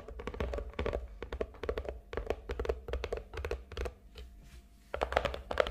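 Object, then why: Cardboard gift box. Long nails tap rapidly on the surface of a hollow, medium-sized red and gold glitter cardboard gift box lying on a table. The taps sound dull and hollow, with a low thump and a muted midrange tone. They briefly fade to soft scratchy touches near the end, then resume in louder bursts.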